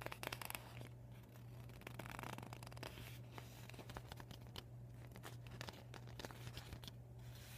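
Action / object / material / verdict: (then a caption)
scrape / vinyl beach ball / PVC vinyl / none. Fingertips and short nails crinkle and scratch a deflated PVC vinyl beach ball with yellow and white panels, folded and empty on a wooden table. Quiet, bright crinkling and raspy scratches come in short bursts and sweeps over a steady low hum.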